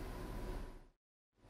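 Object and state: Nothing is struck.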